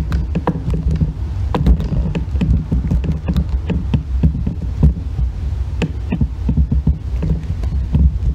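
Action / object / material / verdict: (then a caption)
scrape / bar of soap scraped with a metal loop tool / soap / none. A solid green bar of soap lies on its side on a white box while its end is scraped with a thin metal loop tool, scattering shavings. Repeated short, dry scraping and tapping strokes sound over a low, throbbing hum, with brief bright clicks at each pass.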